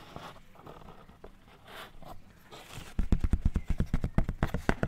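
A white chalk stick is drawn and rubbed across a small, thin black chalkboard panel already covered in chalk writing and held close to the mic. Soft, dry scratching strokes come first, then a quick, uneven run of sharp, dull tapping scrapes with a heavy low thump and little brightness.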